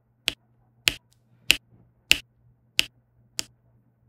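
A plastic diamond pen with a pink tip taps and presses small faceted resin drills down onto a flat adhesive diamond painting canvas. Seven sharp, bright clicks come at a steady, unhurried pace, each ending almost instantly, over a faint low hum.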